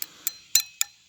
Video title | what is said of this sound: How To Make Fake Stone - [Part 2]. Adding Color | because it rings like that, you can hear it ring. That's when you know it's getting a good cure on it.